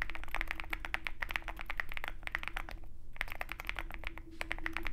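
Fingertips of both hands type rapidly on a compact 65% Zoom65 mechanical keyboard with a dark metal case and white and black plastic keycaps. Quick, sharp clacks with short, bright tops around 1.9 kHz run in dense bursts, with a brief pause near the three-second mark. A steady low hum sits underneath.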